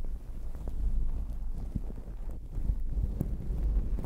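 Long acrylic nails scratch a fluffy, sparkly fabric towel wrapped over a microphone while fingertips rub and squeeze it throughout. The result is a steady, muffled low rumble with soft, dull thumps and crackles and almost no high or bright content.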